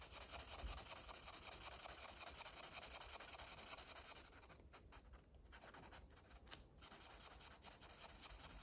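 A red felt-tip marker rubs and scratches across a large, thin paper page of a coloring book, lying flat and held down by one hand, while coloring in a parrot. The quick back-and-forth strokes make a steady, bright, hissy scratching. It softens and briefly breaks off midway before resuming at full strength.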